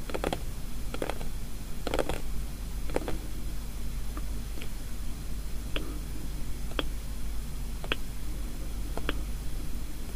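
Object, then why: Small closed paperboard box. Fingertips and long nails tap on the top and edges of a small, closed paperboard gift box with polka dots. Soft, dry taps and sharper nail clicks come at irregular intervals over a steady low hum, each dying away almost at once.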